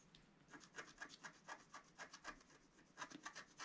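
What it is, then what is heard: Scratch-art paper card being scratched. A wooden stylus scratches across a flat, coated scratch-art paper card in about fifteen quick strokes. Each stroke is a short, dry, bright rasp with little low end, dying away almost instantly. The scraping is quiet, with a faint hissing background between strokes.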